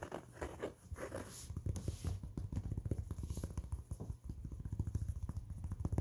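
Fingertips scratch and rub the crown and seams of an empty, soft, hollow maroon cloth baseball cap held close. The result is quiet, rapid, dull scratchy tapping, weighted toward low thuds with a faint rustle at the start.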